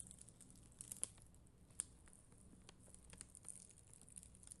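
A black mascara spoolie, held by long green nails, scratches across a flat, solid sheet of red and clear acrylic rhinestone gem stickers. The result is a quiet, dry, bristly crackle scattered with sharp, bright little ticks over a faint low hum.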